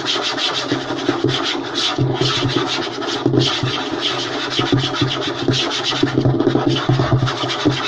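Fingertips and short nails scratch and tap fast on a flat, light wooden tabletop. The result is a steady, dense run of dry, raspy scratching with bright high edges and quick soft taps mixed in, staying at an even level throughout.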